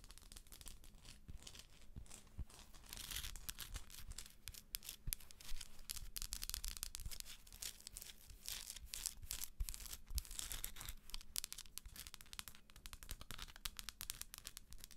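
Long acrylic nails scratch and tap the textured shell of a hollow plastic galaxy moon lamp. A dense, quiet scratching rasp with bright hiss is scattered with short, dry clicks from the taps. A steady low hum sits underneath throughout.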